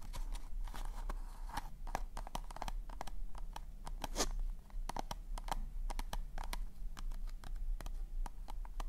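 Fingertips and nails tap and scratch the glossy surface of a hollow, pink polka-dot cardboard/paper cone party hat held in front of the mic. Many quick, dry clicks and taps sit over soft scratchy rustling, with a low rumble underneath throughout.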